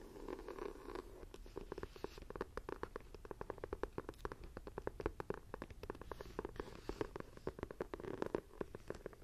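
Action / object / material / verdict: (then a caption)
scrape / textured faux-leather binder journal cover / faux leather / none. Long nails scratch and tap across the textured cover of a closed, dark green leather-look binder journal. A soft, papery scratching runs under a steady stream of quick, dry taps that stop almost instantly. The sound is quiet and low-mid in tone.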